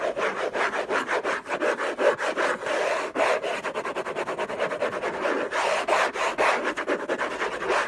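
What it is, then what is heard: Cardboard gift box scratched with fingernails. Fingernails on clawed fingers scratch hard and fast across the hollow lid of an orange Hermès cardboard gift box. The result is a steady run of short, dry rasping strokes, with a papery midrange body around 540 Hz and a bright scratchy edge on top.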